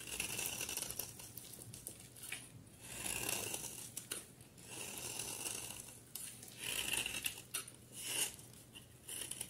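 A utility knife blade shaves a solid rectangular bar of soap, blue on the outside with a cream interior, held in one hand, scraping off curls and flakes. The passes come as soft, crisp, bright scraping swells with a faint whistling edge around 2.7 kHz. There is little low end and the sound stays quiet throughout.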